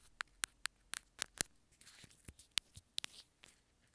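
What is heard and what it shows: Long nails tap and scratch the hollow housing of a small white plastic earphone inline remote. The result is a series of sharp, bright plastic clicks with almost no ring, mixed with soft, high scratching between the taps.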